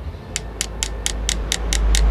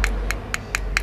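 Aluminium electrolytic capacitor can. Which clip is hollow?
The second.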